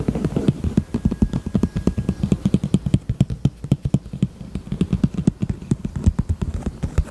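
Long nails tap and scratch rapidly across the front face of a small, hollow, heart-shaped pink faux leather handbag. The steady stream of quick, dull, low taps dies away almost instantly, with faint scratchy clicks mixed in.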